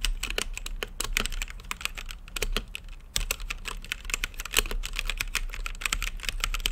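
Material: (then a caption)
Plastic. Fingertips type steadily on a full-size mechanical keyboard with plastic keycaps, Gateron brown switches and a clear acrylic RGB-lit case. Quick, bright clacks come in a dense, uneven stream over a steady low hum, each keystroke short and dry with almost no ring.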